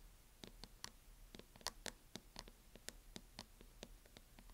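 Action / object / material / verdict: tap / plastic hard-shell laptop case tapped with fingernails / plastic / none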